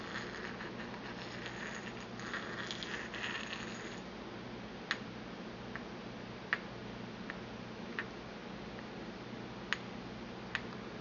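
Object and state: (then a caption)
Porcelain mortar and pestle. A small, empty white porcelain mortar, held in the hand, is struck with a porcelain pestle against its inner wall and rim. Soft, busy scraping over the first few seconds gives way to a series of sharp, bright clinks with a short ring, spaced apart over a faint steady background hiss.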